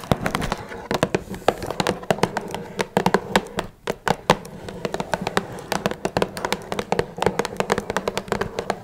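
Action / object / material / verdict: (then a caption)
tap / small cardboard box / cardboard / none. Long red nails tap rapidly on the top and sides of a small, hollow, blue Twinings cardboard tea box. Each tap is a short, dry, hollow click with a mid-pitched body around 490 Hz and almost no ring. The taps keep an irregular rhythm over a faint steady background hiss.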